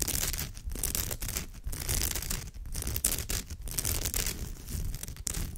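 Long fingernails on both hands scratch along the woven fibres of a straw or raffia purse. The result is a continuous dry, crinkly scratching with bright crackle and a low rustling body, rising and dipping in short brisk strokes.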